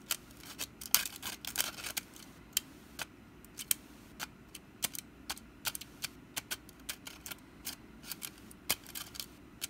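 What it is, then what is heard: Wicker basket tapped and scratched. Long black nails scratch and tap the woven strands of a small hollow orange wicker pumpkin basket with its lid partly open. Around thirty dry, crisp clicks and scratchy rustles sound at an irregular pace, bright and high with almost no low end. Each tap dies away instantly against a quiet background.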